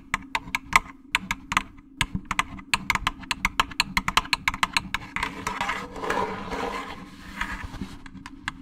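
A fingernail taps a jack-o'-lantern candy basket in a quick, uneven series of short, sharp, bright clicks. Around the middle, the taps blur into a denser scratchy rustle before the clicks return, all over a faint steady low hum.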